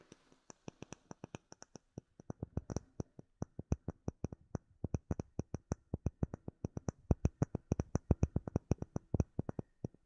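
Fingertips and short nails tap a flat, solid, clear acrylic plate about the size of a hand with bubbles embedded in it, held close to the microphone. About sixty short, dry taps come quickly one after another, each with a low thud around 90 Hz and a faint bright click on top. Every tap dies away almost instantly, and the taps stay soft throughout.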